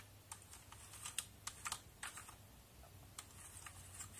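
Brushing a backlit mechanical keyboard with plastic keycaps, a small orange-bristled brush scrubs between the keys. Short, bright scratching and clicking bursts come at an irregular pace over a steady low hum, each one dying away almost instantly.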